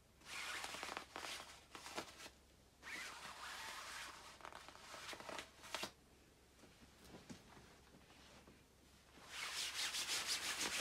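Long nails scratch and rub the quilted surface of a glossy black down-filled nylon puffer jacket worn by a person lying down, making bright, hissy scraping bursts separated by quieter pauses. Near the end, two hands rub the jacket together, producing a louder, steady high rustle.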